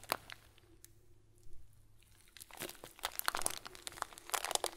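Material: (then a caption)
Plastic. A hand-sized clear plastic bag full of small white plastic pearls is held in one hand and squeezed with the fingers. It gives a sharp crinkle at the start, then a near-silent pause with one soft rustle. Denser bursts of bright, crunchy crinkling and rattling follow toward the end.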